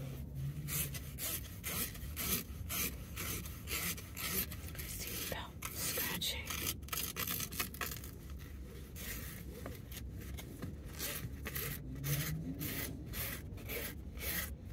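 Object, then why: Woven nylon seatbelt strap. A grey woven nylon car seatbelt strap, flat and flexible and worn across the chest inside a Dodge Charger, is rubbed and scratched along its length with fingertips and long nails. The result is a steady run of quick, soft, raspy scraping strokes with a hissy upper edge over a low rumbling bed.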